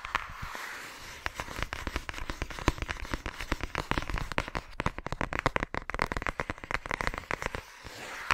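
A flat, thin yellow paper or cardstock envelope is held in front of a microphone while long nails tap and scratch its surface. The result is a dense, rapid run of sharp, crackly paper taps and scratches over a soft hiss, with short decays and no ringing.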